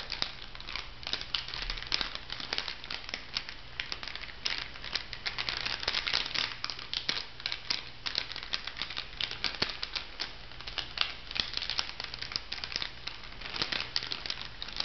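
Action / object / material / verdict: scrape / laminated foil-plastic sachet filled with bath powder / foil plastic / none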